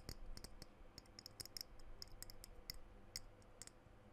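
Fingernails tap and scratch the body of a small dark blue glass perfume bottle with a silver cap, held close to the microphone. Sharp, bright clicks with a glassy high ring sound over a quiet, low background rumble, and each tap fades almost instantly.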